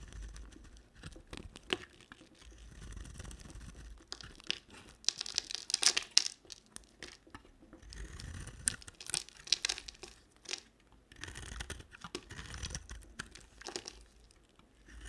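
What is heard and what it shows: A utility knife blade shaves a rectangular solid bar of soap with a red outer shell and cream core. Crisp, bright scraping and crumbling strokes come in repeated bursts separated by brief quiet pauses. Each stroke is dry and short with no ring.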